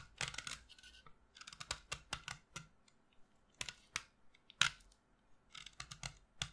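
A solid pastel green chalk stick, held in one hand over a dark table, is scraped and shaved with a utility knife blade, dropping chalk shavings and dust onto the table. About twenty short, dry, bright scraping strokes come in quick bursts with brief pauses between them. Each stroke has a crisp, gritty edge that stops almost instantly.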